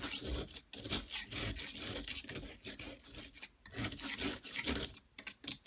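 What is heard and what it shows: A flat metal blade tool scrapes a solid yellow plaster block while a hand with long nails holds it. The result is a bright, gritty rasping scrape that runs in long strokes, broken by a few brief pauses.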